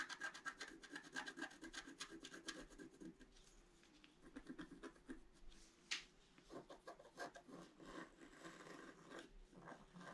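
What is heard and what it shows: A pointed wooden stick scratches across a flat scratch-art page, black coating over colored paper, in many quick strokes. It makes a dry, rasping scratch with bright, airy texture, brief pauses, and one sharper stroke near the middle.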